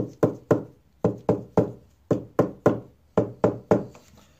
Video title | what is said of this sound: How To Find a Loose Brace Inside a Guitar | this one has already been reglued and it's solid